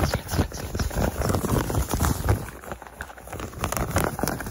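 Fingertips with painted nails quickly scratch and rub the looped pile of a soft, flexible white-beige cotton terry cloth towel held bunched in the hands. The result is a dense, uneven run of fast, muffled scratching strokes, mostly low and thumpy with a faint bright hiss, dipping quieter in the middle before picking up again.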